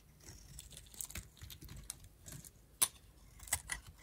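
A metal utility knife blade repeatedly carves and shaves flakes off a pink, solid, oval bar of dried soap held in the hand. The result is a series of dry, crisp scraping and crunching strokes with bright, papery highs, at an uneven pace. Two sharper, louder cuts stand out near the end.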